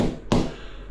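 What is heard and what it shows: A laid ceramic tile is tapped once, giving a short, solid, low thud centered around 250 Hz that dies away quickly with almost no high ring. The tile sounds solidly bonded, the kind that will last for 100 years.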